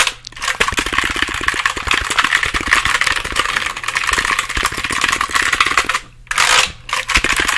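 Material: Plastic.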